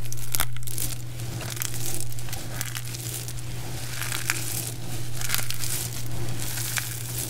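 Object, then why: Pile of dried soap chips. Both hands press down and squeeze into a heap of small, brittle, multicolored dried soap chips, crushing them with fingers and palms. A dense run of dry, crunchy crackling and crinkling rises and falls in gentle swells, with sharp bright snaps popping out here and there. A steady low hum runs underneath the whole time.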